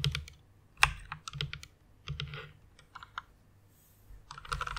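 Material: Plastic.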